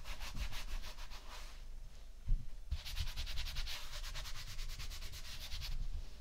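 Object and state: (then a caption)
Kinetic sand being rubbed. Fingertips and flat hands rub and scratch through a layer of tan kinetic sand spread across a white ceramic plate. Rhythmic, grainy brushing strokes carry a bright hiss over soft low thumps. They ease briefly around the two-second mark, then return faster and denser.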